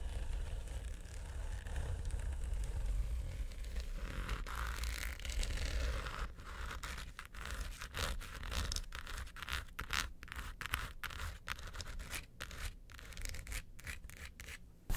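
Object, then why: Hard plastic vanity case. Long nails scratch the sides and top corners of a small, hollow, mint-green quilted hard plastic vanity suitcase. For about six seconds the scratching is a continuous rasping texture, then it breaks into many quick, separate strokes with short, bright crackles. A steady low rumble sits underneath throughout.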